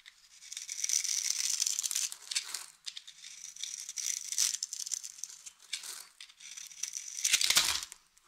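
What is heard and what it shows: A utility knife blade carves scored cubes off the surface of a solid, hand-sized, light green bar of dry soap held in the palm while long-nailed fingers steady it. Bright, crisp crackling and crumbling scrapes come in three louder bursts with quieter gritty cutting between them, all high with almost no low end.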